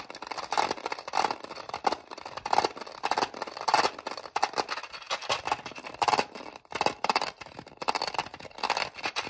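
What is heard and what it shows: Long nails tap rapidly on the lid compartments of a small, hollow, clear hard-plastic case holding sewing bobbins. The sound is a dense run of light, dry clicks with a hollow ring around 840 Hz and bright upper edges, each one cut off almost at once. The taps come in quick clustered bursts with short pauses between them.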